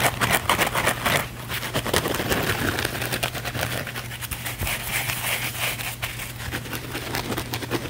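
A thin, flexible blue foam sponge held in both hands is scratched and rubbed fast and hard with the fingernails. It makes dense, crackly scraping bursts with a bright, hissy edge, loudest in the first two seconds, over a steady low hum.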